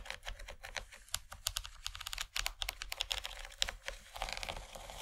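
Long fingernails on both hands tap rapidly across a large, empty yellow plastic tray. The result is a dense stream of short, bright, clicky taps with almost no ring. A soft low hum sits underneath.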